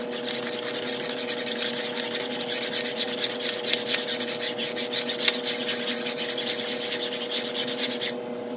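A long-handled push broom with blue plastic bristles scrubs back and forth across a large, flat grey patterned synthetic woven area rug that lies wet with foam on a tile floor. Rapid, bright, rasping brush strokes run continuously over a steady low-mid hum. The scrubbing stops abruptly just before the end, leaving only the hum.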